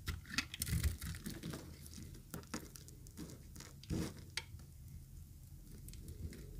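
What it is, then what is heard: Dry bar soap being shaved. A thinned, yellow-green bar of solid dry soap, held in the hand, is shaved with a utility knife blade. The result is a quiet run of short, dry scraping and crackling strokes with bright crisp edges over a soft low rumble, with a slightly louder cut near the middle.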